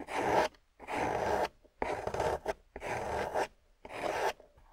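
A small metal loop tool carves a solid, water-soaked grey clay slab, peeling off curls of clay. Five long, wet, rasping scrapes, each about half a second, are separated by short silences, with one brief scrape between the third and fourth. Each has a broad, hissy texture centred in the midrange.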